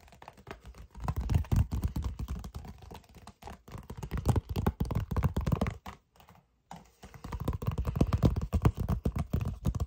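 A red paper envelope with white lettering is held in both hands and tapped rapidly with the fingertips. The result is a steady stream of soft, dull, low-pitched taps, with a brief pause just past the six-second mark before the tapping resumes.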